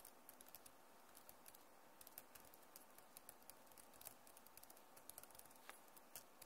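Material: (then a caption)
Plastic. Both hands with long nails type and tap across the keys of a backlit plastic laptop keyboard. The result is a quiet, steady stream of sharp, bright plastic clicks that die away quickly over a soft low hiss.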